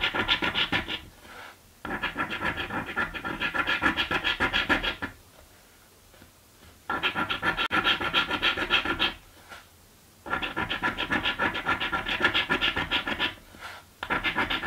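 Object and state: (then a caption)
Scratch card being scraped with a coin. A coin scrapes the remaining coating off a green paper scratch lottery ticket in quick, rhythmic back-and-forth strokes. The dry, bright rasping comes in several bursts separated by brief quiet pauses.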